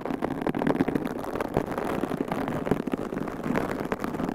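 Long pink coffin-shaped acrylic nails scratch and squeeze two identical large white foam windscreens on binaural microphones, with both hands working the soft, porous covers. The result is a steady, dense, muffled rustling with a low rumbling body and many quick scratchy flicks throughout, little high content, and no talking.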